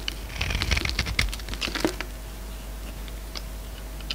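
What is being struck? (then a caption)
Bar of soap. A utility-knife blade scrapes a solid green bar of soap, now narrower and held in the hand, so that flakes break off in repeated strokes. Bursts of crisp, bright scraping and crackling ticks crowd the first two seconds over a steady low hum. After that it goes quiet, with only a few faint clicks later on.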